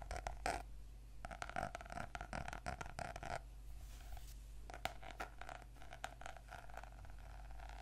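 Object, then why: Notebook with laminated cardboard cover. Medium fingernails and fingertips scratch and tap across the glossy laminated cardboard cover of a closed purple notebook lying flat and solid on a table. The result is quiet, rapid clusters of short dry taps and scratchy strokes with a faint steady tone near 740 Hz. A brief pause comes midway before the tapping resumes, all over a low background rumble.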